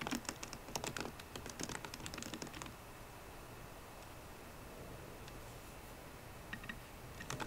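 Fingertips and painted nails of both hands tap the black plastic keys of a solid, 13-inch silver aluminium MacBook Pro. A quick burst of crisp, bright clicks runs for under three seconds, followed by a long quiet stretch with only a few faint taps. The typing picks up again at the end.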